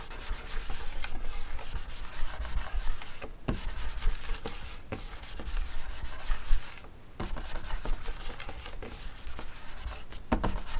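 Fingertips scratch and rub across the flat wood-grain top of a school desk, a large solid panel. The result is a steady, dry rasping with a low rumble underneath, broken by two brief pauses before the scratching resumes.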